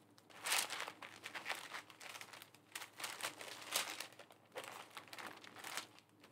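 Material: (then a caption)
Tissue paper. Fingertips with long nails smooth and press thin white tissue paper flat where it is folded around a flat pink envelope in a plastic sleeve lying on a desk. Bright, papery crinkling and rubbing comes in uneven bursts of rustle with short quiet gaps between them.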